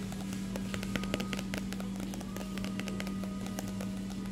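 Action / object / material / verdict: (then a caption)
tap / paper magazine / paper / none. A paper magazine is tapped repeatedly, giving many quick, light taps with brief bright clicks. A steady low hum runs underneath at a fairly quiet, even level throughout.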